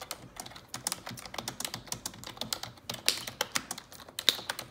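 Long neon-yellow nails type on the keys of a black plastic computer keyboard. Quick, irregular, bright clicks and taps tumble over one another with very little low end. The clatter stays crisp and dry, and each tap dies away almost at once.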